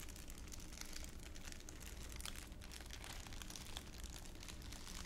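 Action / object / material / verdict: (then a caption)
scrape / thin clear plastic wrapper / plastic / none. A thin, crumpled clear plastic wrapper is held in one palm while the other hand's fingers crumple and crinkle it right next to the microphone. A steady stream of bright, crackling crinkles runs throughout, over a low rumbling hum, at a fairly even level with no clear pauses.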